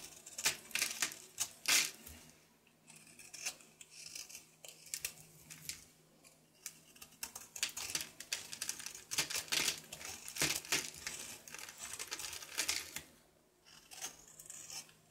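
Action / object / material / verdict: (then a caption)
scrape / soap bar scraped with a knife / soap / none. A solid rectangular blue soap bar held in the hand is scraped and carved with a knife, its flakes piling below. Crisp, bright scraping strokes and sharp little cutting clicks come in quick, uneven bursts with brief quiet pauses, over a faint steady low hum.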